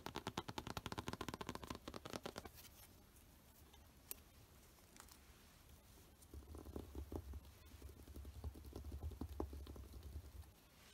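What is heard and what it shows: A thin, flat Spider-Man comic in a clear plastic bag with a board backing is held in one hand, then laid on a dark cloth surface, while fingertips and short nails tap and scratch across its plastic-covered cover. Quick, crisp taps and crinkly scratches patter rapidly for the first couple of seconds, fade to faint scratching, then return as quieter, irregular taps over a soft low rumble.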